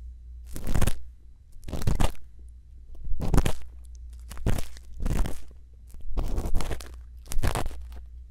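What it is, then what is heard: Silicone ear microphone scraped with an earpick. A thin bamboo earpick scrapes inside the ear canal of a white silicone ear microphone in seven separate crunchy, crackling strokes. Each stroke is a broad, close-up rasp reaching high into the treble, set over a steady low hum.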